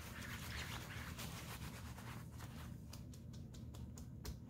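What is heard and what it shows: An open hand rubs and scrunches a large, glossy black nylon coat lying flat and wet with soap suds, working its fingertips over the thin, flexible fabric. Steady squishy, crinkly rubbing fills the first half, then gives way to sharper, brief bright crinkles over a low, soft rumble.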